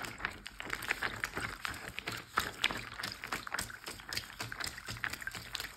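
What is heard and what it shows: Fingertips and short nails of both hands tap and scratch a large clear plastic Ziploc bag full of water lying flat. Quick, bright plastic ticks and crinkly scratches come in a steady rapid patter over a soft watery slosh, each tap dying away almost at once.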